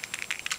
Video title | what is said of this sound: Feb Favs!! | you can hear it i just kind of shake it up before using it